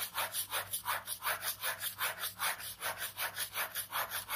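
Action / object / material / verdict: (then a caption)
scrape / ballpoint pen on paper sketchbook page / paper / none. A ballpoint pen rapidly scratches repeated strokes across a page of a large white paper sketchbook resting on fabric. It makes a steady back-and-forth scribbling rasp, about two to three strokes per second, each a soft, bright, papery swell with almost no low end.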